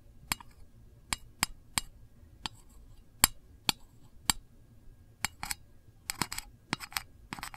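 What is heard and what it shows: A long fingernail taps and scratches the lid of a small, round, printed metal candle tin, which is hollow. Sharp, bright, clinking ticks come at irregular intervals, each dying almost at once, with faint scratching and low hiss between them. Near the end the taps bunch into quicker clusters.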